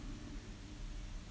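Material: Nothing is struck.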